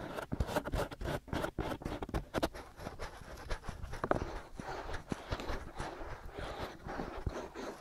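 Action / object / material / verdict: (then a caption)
scrape / silicone ear shells of a binaural microphone / silicone / none. Fingertips and nails scratch both white silicone ear shells on a black binaural microphone. The result is a dense run of close, crackly scratching strokes with muffled low thumps and a bright rasp on top. The strokes come quickly at first and settle into a steadier, softer rubbing toward the end.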